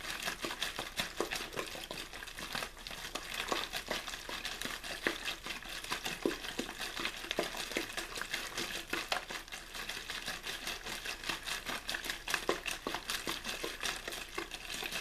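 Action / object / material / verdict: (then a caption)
scrape / thin plastic water bottle / plastic / none. An empty, hollow, clear plastic water bottle with a blue label is crinkled and crushed by the fingers of one hand. The result is a steady stream of dense, bright crackling across the whole clip, with many sharp crinkles and little low end.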